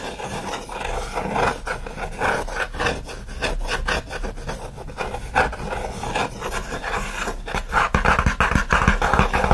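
Fingernails scratch quickly across the lid and top edge of a closed, hollow, shoebox-sized OSEA kraft corrugated cardboard mailer box resting on a fleece blanket. The rapid, uneven strokes make dry, papery rasping bursts with a low, hollow thrum beneath, and each stroke stops almost instantly with no ring.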